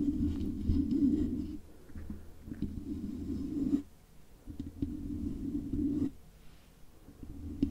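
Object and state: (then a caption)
Metal microphone body scratched with nails. Long acrylic nails scratch and tap the hollow housing of a silver metal microphone body with stickers on it, using both hands. Low, muffled rubbing and rumbling comes in bursts with quieter pauses between them, plus occasional soft taps.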